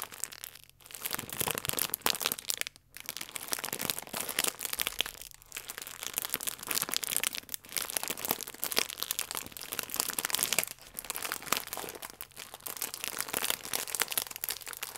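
A full plastic film croissant pack is squeezed and crinkled by palms and fingertips. Dense, bright, crackly crinkling runs nearly continuously for the whole clip, broken only by a few brief pauses.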